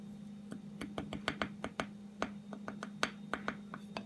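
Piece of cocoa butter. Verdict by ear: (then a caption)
Solid. A solid piece of cocoa butter is tapped 17 times at an irregular pace, each tap a short, dry, bright click with almost no ring, over a steady low hum. The crisp clicks show the cocoa butter is hard and solid at room temperature, so it must be melted down before it can be used in a hand salve.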